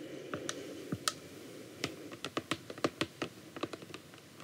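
The tips of long acrylic nails rapidly tap the front of a full, clear plastic bottle of micellar water held horizontally. About fifteen short, sharp clicky taps come in uneven bursts, each with a brief bright plastic tick and almost no ring, over a faint steady hiss.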